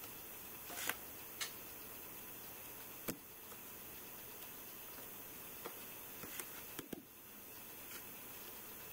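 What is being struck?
Glass smartphone touchscreen.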